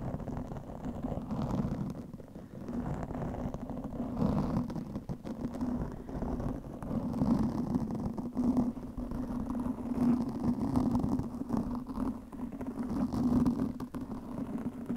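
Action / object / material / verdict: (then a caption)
scrape / foam microphone windscreen / foam / none. Long manicured nails of both hands scratch a soft, porous black foam windscreen over a microphone. The result is a steady, dense, muffled rustling and scraping, heavy in the low and low-mid range with almost no high end. It swells and dips in loudness throughout without clear separate strokes.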